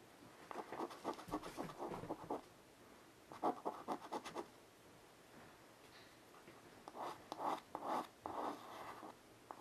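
A child lying on the carpet draws on a flat black chalkboard, about 40 cm with a wooden frame, using a piece of white chalk held in her fingertips. Quick, dry chalk scratches on the solid board come in three bursts separated by quiet pauses, with a mid-range rasp and brief bright streaks.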